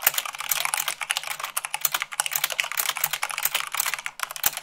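Fingertips with long acrylic nails type fast on a full-size mechanical keyboard with white plastic keycaps on a black base. The result is a rapid, continuous stream of bright, sharp plastic clicks and clacks that die out almost instantly, with a faint low hum underneath.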